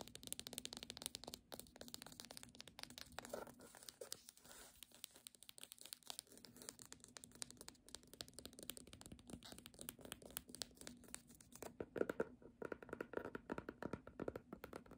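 Long nails tap and scratch along the spine and page edges of a red cloth hardcover book. A quiet, fast stream of dry, crisp ticks and rustling scrapes runs throughout, with a few louder taps near the end.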